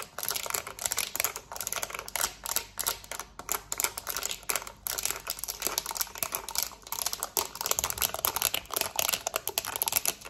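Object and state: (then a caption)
Plastic TV remote. Long nails rapidly tap and scratch the rubber buttons of a black plastic TV remote held in both hands. The result is a fast, aggressive, continuous stream of sharp, bright clicks and scratchy rasps with almost no low end. Each tap dies away almost instantly.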